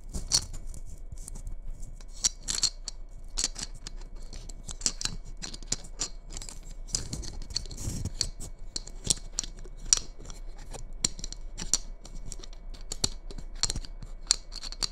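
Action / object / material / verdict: scrape / glitter-coated hollow Christmas bauble / glitter / none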